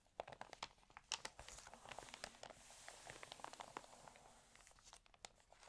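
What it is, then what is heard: Water-damaged paper magazine. Fingertips and nails rub and turn the pages of an open, water-damaged paper home magazine. Dry, bright crinkling and crackling fill the clip, with quick sharp ticks and brief rustling swells as the stiff pages shift and flip.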